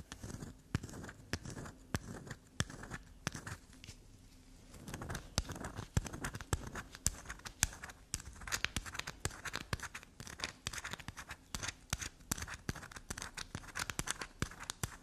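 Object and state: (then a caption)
Black soap bar. A solid black soap bar held up in the hand is scraped and tapped with long black nails, with shavings falling onto the table. The sound is a fast stream of soft, dry scratches and crisp clicks with bright edges over a low rustle, easing briefly around four seconds before picking up again.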